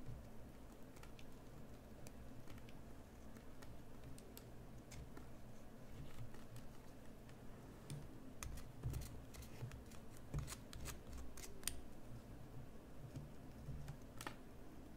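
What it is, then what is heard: Bar of soap being carved. A solid green bar of soap held in the hand is carved with a small metal carving knife, and the shavings fall onto a dark table. Quiet, sharp scraping and cutting ticks with bright edges come in an irregular run over a low, steady hum.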